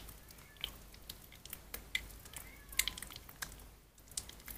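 Soft, mushy pink bar soap that has been soaked is squeezed and kneaded with both hands over an empty white plastic basin. Quiet, wet squelching and sticky clicking pops come in irregular bursts, with a bright, hissy texture throughout.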